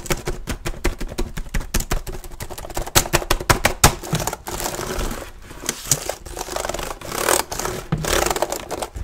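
Fingertips type fast and hard on the plastic keys of an open black plastic laptop with a hollow keyboard deck. The result is a rapid, irregular stream of dry, clacky taps with a hollow low thump under a bright plastic clatter. The taps run together into denser rattling bursts in the second half.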